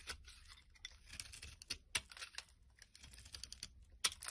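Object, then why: Bar of soap. A solid, hand-sized bright green soap bar is scraped and carved with a metal blade, peeling off long shavings. Quiet, bright, crisp scraping and crinkling comes in irregular strokes, broken by short, sharp ticks as the blade bites into the soap.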